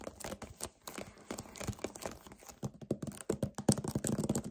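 A hollow 1 L white paperboard vanilla kefir carton, its fill level unseen, is gripped, tapped and scratched with short painted nails and fingertips. About two dozen quick, irregular taps and scratchy crinkles are heard, with dull hollow thumps centered near 200 Hz and brief bright scraping. The sounds are short and dry, growing louder and denser toward the end.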